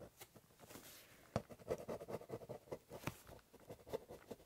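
A ballpoint pen tip scratches, scribbles and doodles across the top of a large corrugated cardboard box. The quiet, dry strokes come as short, uneven scratchy bursts with a soft papery rasp, some sharper than others, with no ring after each stroke.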